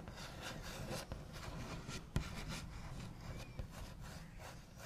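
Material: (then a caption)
Wood. The backs of fingernails scratch and trace across a wooden table, making a steady, dry rubbing sound with low, muffled body. Two sharper taps stand out briefly from the continuous scratching.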